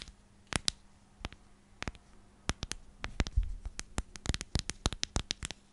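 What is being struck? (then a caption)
Plastic storage container with lid. A clear plastic storage container with a purple lid is scratched and rubbed along its sides with long nails. The result is a rapid series of sharp, bright clicks and scrapes, sparse at first and then denser, over a low steady hum.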